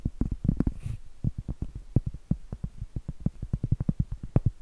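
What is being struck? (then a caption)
Cork trivet. Long acrylic nails tap and scratch the flat face of a round, solid cork trivet held upright. Around 28 quick, dull, low thuds with almost no ring come in an uneven rhythm. A brief soft scratching hiss sounds near the one-second mark.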